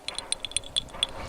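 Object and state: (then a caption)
Intact crotal bell with ball rattling inside. A complete metal crotal bell, just dug up with a metal detector and cleared of soil, is shaken so the loose ball inside rattles. About seven bright, short, high-pitched jingling clinks are heard, showing the bell is intact, which is rare since most are found broken.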